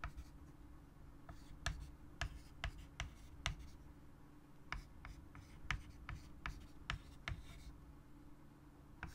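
A white chalk stick writes on a large, solid, flat wood-framed chalkboard, giving short dry taps and scratchy strokes. The sharp chalk contacts break cleanly above a steady low hum and die away almost at once.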